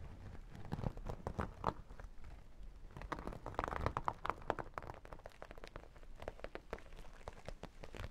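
Fingernails scratch the sequin top of a small, hollow sequin and holographic vinyl makeup bag, then fingertips tap its vinyl and sequin side close to the mic. The result is a quiet, dry, crunchy scratching layered over soft low thumps, followed by a run of quick, dull taps that die away almost instantly.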